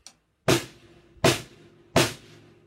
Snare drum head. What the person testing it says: So you hear that sort of dead sound